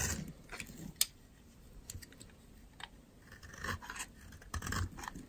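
A metal utility knife blade carves and scrapes dry, powdery chunks off a solid white oval soap bar held in the hand. Quiet, dry, crunchy scrapes and short crisp clicks come in irregular bursts with bright, high grit, including one sharp snap near the first second.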